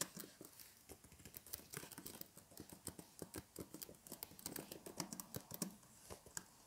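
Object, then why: Plastic laptop keyboard. Fingertips of both hands type rapidly on the hollow plastic keys of a blue plastic laptop keyboard in a case, resting on a table with fairy lights. A quiet, continuous stream of short, dry, bright clicks and taps with a slight hollow thump beneath them, each tap dying away almost instantly.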